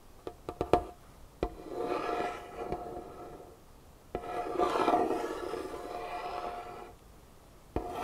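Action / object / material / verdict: scrape / wooden tabletop / wood / none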